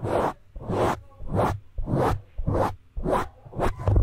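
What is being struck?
Foam microphone windscreen.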